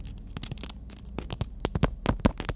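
Long natural nails tap and scratch on a horizontal black emery board nail file with a "we make-up" print. Quick, dry clicks and short rasping scratches come in an uneven run, growing sharper and louder toward the end, over a faint low hum.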